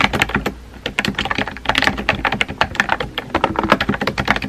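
Fingertips with painted nails type rapidly on a compact pink plastic mechanical keyboard with a hollow body and round white-and-pink typewriter-style keycaps, resting on a desk. The result is a fast, continuous stream of short, bright, clacky key taps with a slightly hollow tone and almost no ring between strokes.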